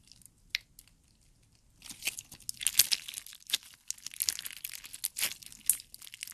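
A handful of clear slime full of colored gummy jelly cubes is squeezed and pulled with the fingers of both hands. A few scattered soft pops give way, after about two seconds, to dense, bright, squelchy crunching and crackling that continues to the end.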